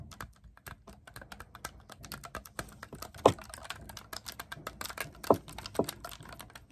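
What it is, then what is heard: Clarinet keys being clicked. Fingertips rapidly press and click the silver-plated metal keys of an assembled black clarinet held upright, and grip its long hollow body, making a fast, uneven stream of dry, short clicks and taps. Several sharper, louder clicks stand out, each with a brief midrange snap and almost no ring.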